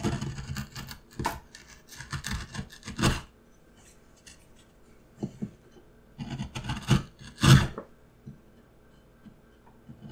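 A steel carving tool cuts and scrapes a relief into a solid, hand-sized block of light pine wood in repeated strokes. Short, dry rasping scrapes come in clustered bursts, busy at first, then sparser with quiet gaps. One sharper, louder scrape stands out near the end.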